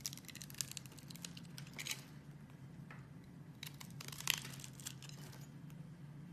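A metal box-cutter blade carves a solid green bar of soap, and small cubes break off the scored surface. Quiet, dry scraping and crisp crumbly crackles come in bright clustered bursts, with a sharper snap near the end, over a steady low hum.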